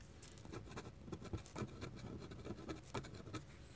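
A black dip pen's metal nib scratches small looping ink strokes across a flat white paper drawing sheet. Quiet, quick, dry scratching ticks with brief bright edges sit over a soft low rumble.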